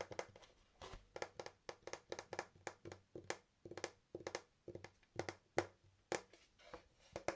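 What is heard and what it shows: Fingers tap 27 times on the wooden main deck of an 8-inch Primitive skateboard with a sloth graphic and song lyrics printed on it. Each tap is a quiet, dry, hollow knock around 350 Hz that dies away almost instantly, coming in an uneven rhythm of singles and quick runs.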